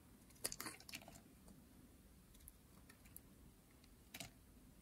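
A hand-sized pink dry soap bar, held by hands with long painted nails, is shaved into flakes with a metal blade. Quiet, crisp, bright scraping crackles cluster in the first second, fade to faint ticks, then return in one more short crunchy burst near the end. Each sound is dry and short, with almost no ring.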